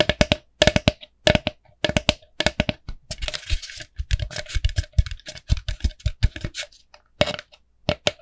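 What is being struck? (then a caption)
Plastic pumpkin bucket. Long nails tap a small, hollow, empty orange plastic jack-o'-lantern bucket with a black handle, producing quick clusters of sharp, hollow clicks with a short plastic ring around 600 Hz. Between the taps, the nails scratch across the plastic, adding a bright, rasping hiss before the tapping resumes.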